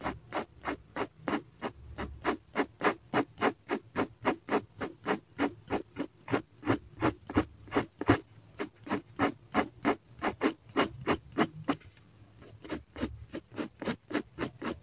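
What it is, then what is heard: Pen hatching on drawing paper. A black fineliner pen held in the hand scratches quick hatching lines on a flat sheet of drawing paper clipped to a clipboard. About 46 short, dry scratching strokes come in a fast, uneven rhythm of roughly three per second, each fading almost at once. There is a brief pause near the 12-second mark before the strokes resume.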